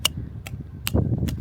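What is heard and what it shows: A small hammer gently taps a metal spile into a drilled hole in a maple tree trunk, giving four sharp, evenly spaced strikes over a low rumble. The taps land as dull thuds, showing the spile is seated snug in the tree.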